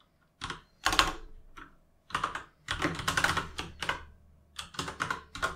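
Fingertips tap the plastic keycaps of a full-size mechanical gaming keyboard while typing. Quick bursts of sharp, bright clicks and clacks come in uneven clusters, separated by brief pauses. Each keystroke dies away almost instantly, with its weight centered around 1 kHz.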